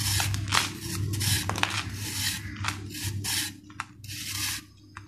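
A steel kitchen knife scrapes and shaves the flat cut face of a hand-sized solid ball of dried sand and cement held in one hand, crumbling off powder. Irregular, bright, gritty rasping strokes sound over a steady low hum, with a few short sharp scratches between the longer passes.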